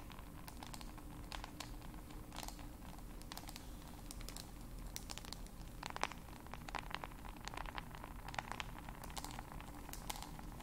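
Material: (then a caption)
Glass. Long nails tap and scratch the glass screen of a smartphone held close to the microphones. Rapid, irregular, crisp clicks and brief scrapes sound over a steady low hum at a quiet level.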